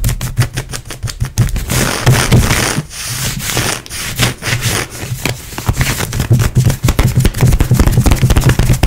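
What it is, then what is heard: Ribbed stretch leggings fabric being scratched. Long nails scratch fast and aggressively across grey ribbed and perforated stretchy nylon-spandex leggings worn on the leg. The result is a dense run of irregular raspy scrapes and sharp clicky strokes, with a low rumbly body and a bright crackling edge, rising to quicker, harder bursts near the end.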